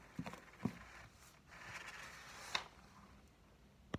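A thick, solid blue hardcover dictionary with a laminated board cover is held in the hand while fingertips and nails tap its edge and front cover. Four short, sharp taps stand out, irregularly spaced and dying away almost at once, with soft brushing sounds between them.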